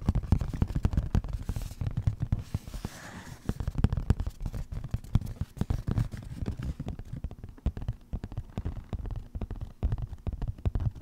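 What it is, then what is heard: Cardboard shipping box. Fingertips and nails tap and scratch rapidly on the face of a flat brown cardboard shipping package or mailer held upright. The sound is a dense run of dull, low, thumping taps with quick dry scratches and no ring after each touch.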